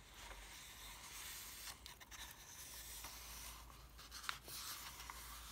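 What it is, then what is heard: Paper comic book pages being rubbed. Fingertips and a palm rub and stroke the printed pages of an open softcover paper comic book with thin pages, lying on a table. The result is a quiet, steady, bright papery hiss and swish, with a few faint crackles and one sharper tick near the end, over a low steady hum.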